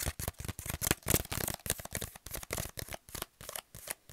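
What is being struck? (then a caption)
Kraft paper pouch. A kraft paper pouch is crinkled and scratched with the fingernails. It gives a fast, irregular series of short, dry, crackling bursts with bright, hissy highs, each stopping almost at once with brief silent gaps between.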